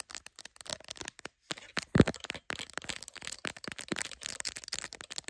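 Long acrylic nails quickly tap and scratch the glass camera lenses, lens bump and clear plastic case of a hand-sized smartphone, which is clipped into a black phone holder and is itself recording. Close, dry clicks and crackly scrapes arrive in rapid, uneven bursts with very short ring, and one brief pause comes just before a louder knock near the middle.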